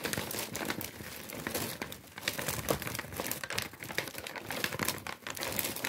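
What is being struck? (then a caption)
Kraft paper bag. A large, empty, thin-walled brown kraft paper bag with white stripes is held close and crinkled and crumpled by the fingertips. A dense, continuous run of dry, bright crackles and rustles fills the clip, rising and falling in intensity with little low-end weight.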